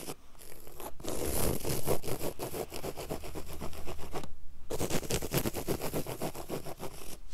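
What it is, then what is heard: Woven fabric carpet. Long acrylic nails and fingertips quickly scratch and rake across a flat, solid, low-pile woven fabric carpet on the floor, dragging over the weave. The result is a fast, rough, rasping scratch with rapid repeated strokes and a low rumble underneath. The scratching pauses briefly just past the midpoint, then resumes just as busily.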